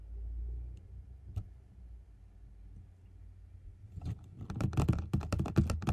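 Fingers and nails tap at the edges and surface of a medium, closed, likely hollow white cardboard gift box held up in the air. After a few quiet seconds with a low hum and a single faint tap, a quick, uneven run of short, dry, dull taps starts and grows louder toward the end.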